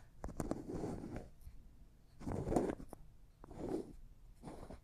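A small, empty, clear glass cosmetic jar with a white plastic lid has its lid turned and tapped with fingernails. Quiet bursts of low, gritty scraping from the turning lid alternate with sharp, short clicks from the nail taps, each dying away quickly.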